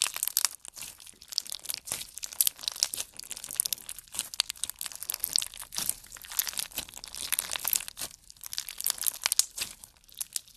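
A handful of clear pink slime packed with pink plastic pearl beads, a solid mass, is kneaded and squeezed between fingertips. It gives a dense, continuous stream of bright, crisp crackling and crunching clicks with almost no low end, each pop dying away almost instantly.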